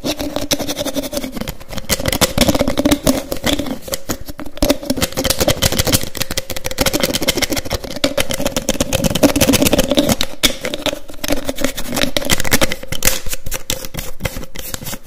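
A small white plastic bottle with a teal cap is held near the microphone while fingertips snap the cap on and off fast. The result is a dense, rapid stream of sharp plastic clicks and snaps over about fifteen seconds, with a steady low hum underneath.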